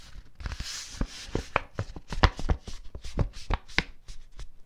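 A teal cardstock sheet, folded into a smaller layered piece, is tapped and rubbed by fingertips and long nails. The result is a quick run of soft, dull taps with short low thumps, mixed with a light papery scratching and rustle between them.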